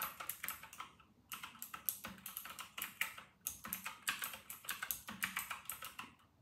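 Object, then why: Plastic mechanical keyboard with round keycaps. Two hands type continuously with their fingertips on an RK960 full-size white and silver mechanical keyboard with round, typewriter-style plastic keycaps, resting on a white desk. Rapid, bright, clacky keystrokes with a sharp high click come in quick bursts, with brief pauses just after the first second and again around the middle of the clip.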